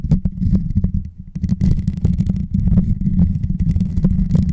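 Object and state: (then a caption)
Metal microphone grille. Fingertips and short nails scratch and tap the hollow, rounded metal mesh grille on top of a white Blue Yeti microphone. The result is a dense, steady stream of deep, muffled rumbling thuds with faint, scattered scratchy clicks above, easing briefly around one second before continuing.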